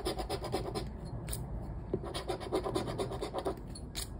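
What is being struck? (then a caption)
Paper scratchcard scraped with a plastic scraper. A flat paper lottery scratchcard on a wooden table has its scratch-off coating scraped with a round black plastic scraper while fingertips hold the card still. The result is a steady run of short, dry scratching strokes with a papery rasp, a mid-range tone, and brief bright flicks.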